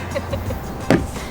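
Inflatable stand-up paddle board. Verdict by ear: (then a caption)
Firm. An inflatable stand-up paddle board, pumped up to 15 psi, is tapped once, giving a single short, dull thud over a low background hum. The board sounds solid and firmly inflated.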